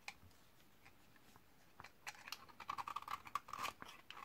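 A solid white bar of 72% laundry soap from 2012, dried for 8 years and held in the hand, has its edge scraped and shaved by a metal utility-knife blade, producing crunchy flakes. After a quiet start with a few faint ticks, a rapid run of dry, crisp scraping crunches builds up, with a tonal rasp around 1.1 kHz and bright, high crackle.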